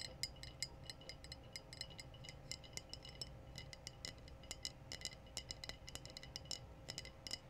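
Long blue nails tap and scratch on a clear, apparently empty glass wine bottle with a foil-capped neck. The result is a rapid, irregular series of short, bright glassy clinks that ring high and die away almost instantly, over a soft low hiss and a faint steady hum.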